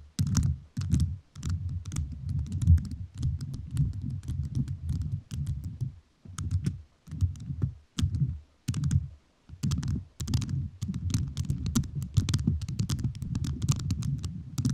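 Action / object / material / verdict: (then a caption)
tap / rhinestone-covered microphone / rhinestone / none. A microphone fully covered in rhinestones is tapped with fingertips whose nails are also rhinestone-covered. Rapid, crisp clicky taps come in bursts separated by short pauses, each with a deep, thumpy low body and faint bright clicks on top.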